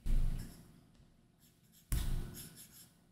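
A plastic stylus tip makes short line strokes and taps on a large iPad Pro's solid glass screen fitted with a matte plastic screen protector film. Two soft, dull low thumps with a faint scratchy drag stand out, each fading quickly, with quieter light contacts in between.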